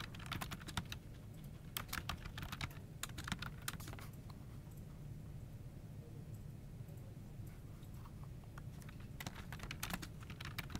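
Fingertips of both hands rapidly tap the key caps of a full-size plastic office keyboard on a desk. Bursts of short, bright clicks come in quick runs, thin out in the middle, then pick up again near the end, all over a steady low hum.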